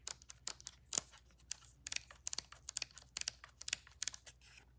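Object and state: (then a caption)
Plastic DSLR camera. Long nails tap quickly on the body, grip and lens of a black plastic DSLR camera held in the hands. About sixteen quiet, bright, dry clicks and ticks sound in an uneven run, each dying away almost at once with hardly any low end.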